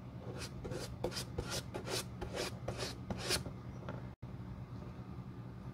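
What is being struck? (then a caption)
Leather shoe sole. A glue brush spreads glue over the toe area of the solid leather outsole of a Boss dress shoe held in the hand. About seven quick, bristly rasping strokes sweep across the sole over a steady low hum. They fade to a quieter scrape after a brief silent gap near the end.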